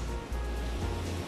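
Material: Nothing is struck.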